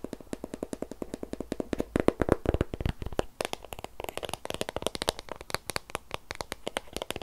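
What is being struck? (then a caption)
Shrink-wrapped cardboard box. A long, white, hollow and closed cardboard Apple Pencil box in plastic wrap is held in the hands and turned over while fingertips and nails rapidly tap and scratch its surfaces and edges. The result is a fast, steady run of dry, hollow clicks and taps, with short bursts of crinkly, bright scratching from the wrap, each hit dying away almost instantly.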